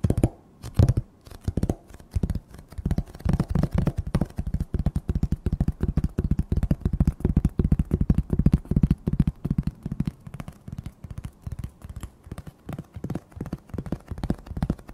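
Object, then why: Stack of painted wooden plank signs. A stack of several flat, solid, painted wooden plank signs reading Thanksgiving, Apple Cider and Pumpkin Pie is held in one hand and tapped with fingertips and nails. The result is a rapid, uneven stream of dull, low knocks with short, dry decays and little high-end brightness, continuing throughout.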